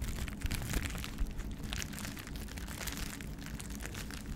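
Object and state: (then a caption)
Plastic bubble wrap. A small sheet of clear plastic bubble wrap is held in both hands and scratched and squeezed with the fingers. It gives a steady stream of dense crinkling with sharp pops over a low, rumbling bed, with brief bright crackles flickering throughout.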